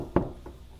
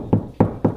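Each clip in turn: First: A short, dull knuckle knock on drywall that dies at once: solid, with a stud behind it. Second: Three low, boomy knocks that die within a moment: drywall sounding hollow where no stud backs it.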